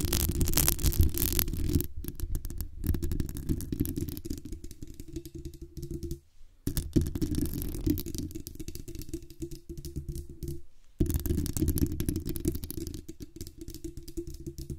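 Long acrylic nails rapidly tap and scratch the hollow metal mesh grille and the metal base near the knob of a black USB condenser microphone. The result is a dense, boomy, low-heavy stream of close thuds and rustling scrapes with a faint bright hiss on top. It pauses briefly twice, just after 6 seconds and around 11 seconds.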